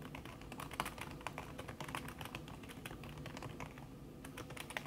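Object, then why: Laptop keyboard with silicone key cover. Fast typing by fingertips with long red nails on a backlit laptop keyboard in a silver aluminum body, its keys covered by a thin red silicone skin. A rapid, steady stream of soft, muffled keystroke taps with short bright clicks over a low hum, each tap dying away almost instantly.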